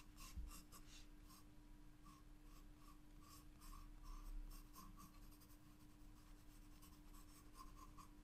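A wooden graphite pencil traces lines on a spiral paper sketchbook page, giving a gentle, steady scratching with soft bright strokes over a low, constant hum.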